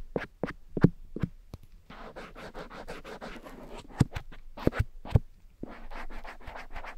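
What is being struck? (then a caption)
Silicone ear of a dummy head microphone. A cotton swab rubs and scratches inside the grey silicone ear of a black dummy head microphone. Sharp, separate taps and scrapes open the clip, then give way to a run of quick, dense, brushy scratching strokes. Louder pops break the scratching before it picks up again.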